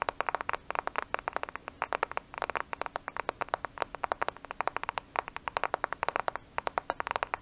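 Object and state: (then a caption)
Smartphone tapped with nails. Long nails tap rapidly on a black smartphone with a glass screen and plastic case, held in both hands close to the microphone. About 60 sharp, dry clicks come in quick bursts, each one bright and gone instantly with no ring. A faint steady low hum runs underneath.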